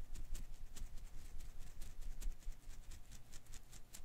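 A single blue and green Koosh ball of thin rubber filaments is held in one hand while the fingers flick and strum its strands. The result is a soft, irregular patter of quick, bright rustling ticks over a low, steady rumble.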